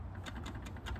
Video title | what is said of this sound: I Love My Mini Toolbox from Harbor Freight | not a lot of rattles when you're kind of picking it up and whatnot and shaking it